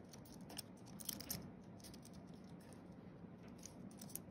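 Fingertips of both hands tap quickly across the white plastic keys of a thin wireless keyboard with a flat aluminium base, typing. The result is a quiet, steady stream of soft, bright clicks with a few slightly louder taps over a low background rumble.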